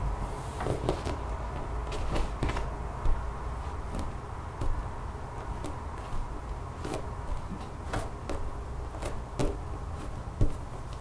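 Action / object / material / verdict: tap / textured rubber mat / rubber / none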